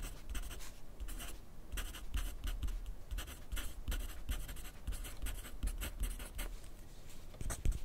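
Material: Paper.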